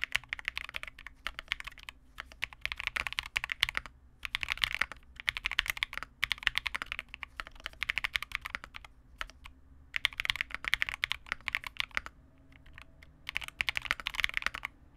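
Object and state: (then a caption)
Plastic mechanical keyboard. Continuous two-handed fingertip typing on a Vega65, a small 65% mechanical keyboard with re-lubed Cobalt switches, white plastic keycaps and a dark case. Quick, bright, dry clacks centered around 2 kHz come in bursts of rapid keystrokes separated by brief pauses, with almost no low end or ring after each press.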